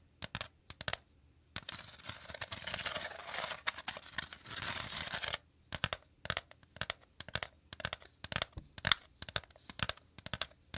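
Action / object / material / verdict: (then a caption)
tap / woven bamboo basket / bamboo / none. Fingers quickly tap and scratch the woven interior of a shallow, empty woven bamboo/wicker basket held to the left. Sharp, bright clicks and crackles come in fast bursts, with a stretch of continuous dense scratching in the middle. Each tap dies away almost instantly.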